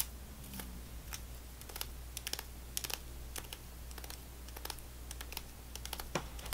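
A single stick of gum in a foil wrapper is held in the fingers and scratched and tapped with long nails. Quick, bright, crinkly clicks and taps come in irregular bursts over a steady low hum. The sound stays quiet and close throughout.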